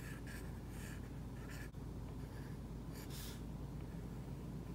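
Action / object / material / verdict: scrape / plastic stylus tip on a tablet screen with matte plastic film / plastic film / none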